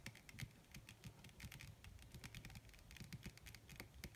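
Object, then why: Thin leather sheet on a flat surface. Long red acrylic nails on both hands, fingers wearing rings, tap rapidly and scratch across a large, crumpled, wrinkled black leather (possibly faux) sheet laid flat on a surface; the sheet is thin, soft and not hollow. The result is a quiet, dense patter of short, dry clicks with a soft low thud under each one and bright ticks on top, plus faint scratching between the taps.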